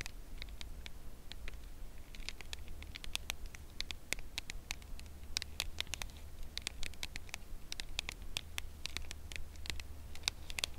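Long acrylic nails tap and scratch along the edge of a red Lindt Lindor cardboard box holding a chocolate bar, held in both hands. Quick, dry, bright clicks with almost no ring patter irregularly over a steady low hum, growing denser toward the end.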